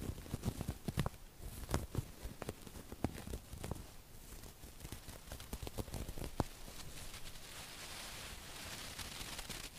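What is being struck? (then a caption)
Stuffed cushion with burlap-like woven cover. A small stuffed cushion covered in burlap-like woven fabric with an appliqué fox face is scratched with long acrylic nails. Quick, dry scratching clicks and rasps are heard up close, denser at first and then fading into a steady soft, bright hiss of nails dragging over the weave.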